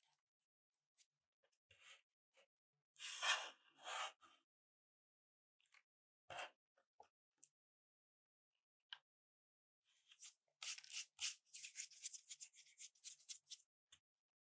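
Fingertips push, rub and crush a loose pile of thin, curled, brittle pink soap shavings against a dark surface. Soft, dry crackles and brief scratchy rustles come in scattered bursts, then build into a dense stretch of bright, crisp crunching near the end. The sound stays quiet and high, with almost no low end.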